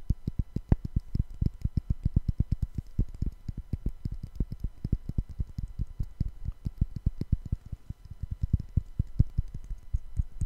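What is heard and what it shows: Two small solid light-wood cubes are held in both hands near the microphone and knocked and tapped together in rapid, light strikes. Over about ten seconds they give a steady, uneven stream of short, dry, low-pitched knocks that stop instantly with no ringing.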